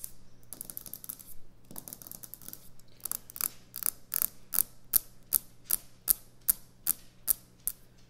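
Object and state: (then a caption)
Quartz kitchen countertop. Fingernails tap quickly on a solid white speckled quartz or stone kitchen countertop after the hands are briefly raised at the start. Dense, bright, dry clicks and scratchy taps over a faint steady low hum settle into an evenly spaced run of about nine sharp ticks.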